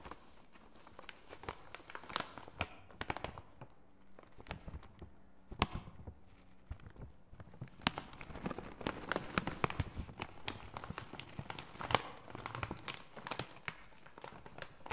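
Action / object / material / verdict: scrape / plastic foil laminate snack bag / plastic foil / none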